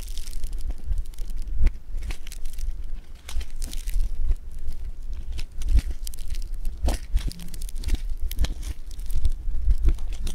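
A solid lump of blue polystyrene-bead foam clay (floam) is pulled apart with both hands and squeezed with the fingertips. It gives a dense, close run of dry crackling, crunching and tearing sounds with quick, short snaps over a low rumble, continuing steadily throughout.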